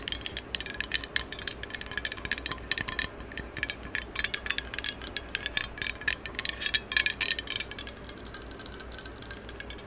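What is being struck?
Metal aerosol can.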